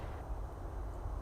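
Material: Nothing is struck.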